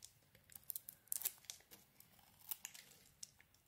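A utility knife blade carves the lilac layer and pink flakes off a solid, hand-sized embossed lilac soap bar with a pink core. It makes a quiet run of bright, crisp scraping and crackling cuts with short tearing flurries, each dying away at once.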